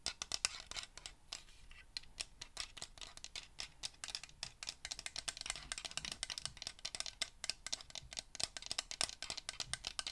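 A small hollow plastic LED ring light, held in both hands, is tapped and scratched with fingernails. The result is a quiet, rapid stream of sharp, bright clicks and scratchy ticks that die away instantly, with almost no low end.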